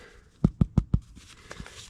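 A freshly baked loaf of bread from a camp oven is tapped to check whether it is cooked in the middle, giving four quick, dull, low thumps followed by a few fainter knocks. The taps sound hollow, a sign that the loaf is baked through.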